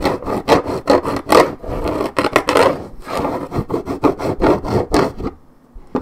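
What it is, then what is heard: Paperboard juice carton, scratched. A hollow 1.75 L Minute Maid orange juice carton of coated paperboard, held in one hand, is scratched with long painted nails across its printed top side. About fourteen quick, dry, rasping strokes come in an uneven rhythm, each a short papery scrape centred in the low-mid range with little bass or bright hiss. The strokes stop near the end, leaving a quiet pause before one faint final touch.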